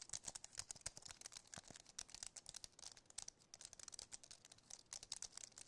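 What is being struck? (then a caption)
Aluminum-framed keyboard with plastic keys. Fingertips and nails tap and press quickly across the plastic keys of a compact white wireless keyboard with an aluminum frame. The result is a dense, uneven run of dry, bright clicks with almost no low end, each tap dying out instantly, and faint crinkly textures between the louder taps.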